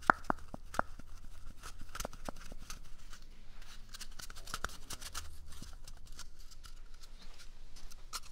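A small, empty, hollow brown cardboard toilet paper tube is moved between the mic's ears and scratched with fingernails. It gives a quick run of dry, crackly scratches and taps with bright, brushy hiss and a faint papery ring, opening with a few sharper clicks. The scratching then settles into a steady, soft rustle over a low hum.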